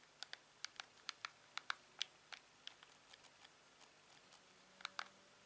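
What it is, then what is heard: Plastic TV remote control. A hand-sized, hollow, glossy black plastic LG TV remote with a scroll wheel and buttons is held in one hand while the thumb and fingertips press its buttons. About 15 quiet, sharp, bright clicks come at an uneven pace, each dying away almost instantly with no ring.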